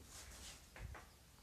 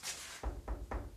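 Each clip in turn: First: solid brick wall. Second: hollow spot in a brick wall.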